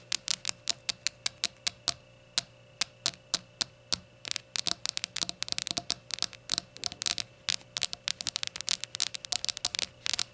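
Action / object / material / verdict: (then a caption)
tap / glazed ceramic shot glass tapped with fingernails / glazed ceramic / none. Long nails tap the glazed sides of a small, hollow, empty rainbow ceramic shot glass standing on a towel. The result is dozens of quick, bright clicks with almost no ring, spaced evenly at first and then coming in faster, irregular bursts. A faint steady hum sits underneath.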